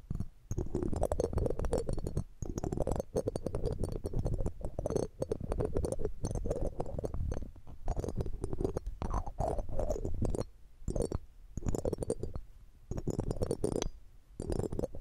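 A red-gem ring in a metal setting, held in metal tweezers, is rubbed and scratched over the round metal mesh grille of a silver condenser microphone, with no earrings hanging on it. The result is dense, close, muffled scraping with a deep rumbling low end, falling into bursts separated by short pauses.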